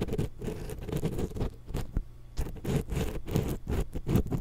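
A thin wooden ear pick, held in long-nailed fingers, scratches across the metal mesh capsule grilles of a small hollow X-Y stereo microphone. The result is a steady run of short, dense scratching and scraping strokes with a heavy low-end rumble and faint bright grit, pausing briefly near the middle before resuming.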